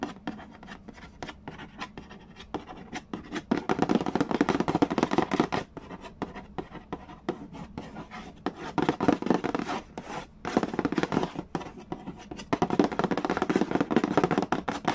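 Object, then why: Cardboard board game box lid. Fingernails trace and tap on the printed cardboard lid of a large, flat, hollow Mastermind board game box. Dry scratching alternates with fast bursts of short, hollow taps that have almost no ring. The tapping grows louder and denser in stretches around 4 to 5.5 seconds, 9 to 10 seconds, and from 12.5 seconds to the end.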